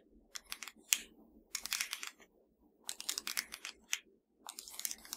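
A slim, hollow black plastic Fire TV remote held in one hand is tapped and scratched with the long nails of the other hand. Quick, bright, dry clicks and scrapes come in four bursts separated by short pauses, each tap dying away almost instantly.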